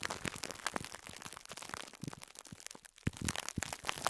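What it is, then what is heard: Plastic-wrapped foam sponge. A small, soft two-layer yellow and pink foam sponge, tightly wrapped in clear plastic cling film, lies on a cloth between two microphones while fingertips press and squeeze it. The result is a quiet, steady run of bright plastic crinkles and soft squishes. A few louder pops and crackles rise from the pattern near the end.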